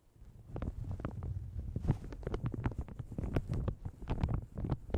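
Long red nails and fingertips scratch and crinkle a light blue plastic shower cap stretched over a large, hollow Yeti microphone. The result is a steady stream of soft crinkles and quick scratchy ticks over a deep, boomy low rumble, with little high-end brightness.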